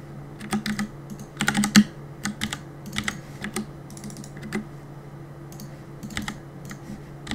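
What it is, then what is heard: Plastic mechanical keyboard. Fingertips rapidly press the keys of a black plastic Cooler Master compact mechanical keyboard with a hollow body, resting on a wooden desk, while gaming. Sharp, bright clicks come in irregular bursts, with a louder flurry of presses near the two-second mark. A steady low hum runs underneath throughout.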